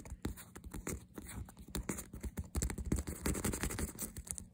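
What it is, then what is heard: Faux leather handbag. Fingernails rapidly scratch and tap the smooth leatherette front panel of a hollow faux leather lolita-style handbag with a stitched cross and a "Sweet Girl" print. A quick, irregular stream of dull, low thumps mixes with dry, brushy scratches, each sound dying away almost at once.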